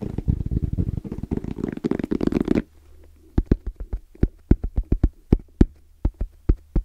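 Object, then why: Fabric-covered EVA hard-shell zipper case. Both hands tap their fingertips on a small, closed, hollow black zippered hard case with orange trim and a fabric-covered EVA shell. A dense, fast flurry of dull, low, hollow thumps lasts about two and a half seconds. Then come slower, separate taps over a faint low hum, each dying away almost instantly.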